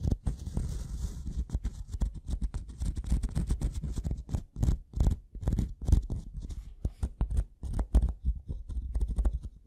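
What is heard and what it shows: The metal prong tip of a pink-handled tool taps and scratches across the top surface of a solid, light-colored wooden block. Rapid, irregular dry taps and short scraping strokes are heard close up. The sound is dull and low with almost no ring, and each tap stops at once.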